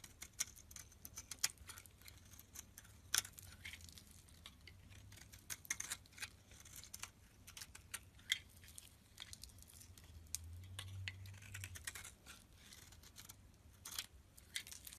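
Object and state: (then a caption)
Bar soap being carved. A metal blade carves crumbly curls off a solid yellow bar of soap held in the hand. The result is a quiet, steady run of bright, dry scraping crackles and sharp little ticks over a faint low hum, with a few louder snaps.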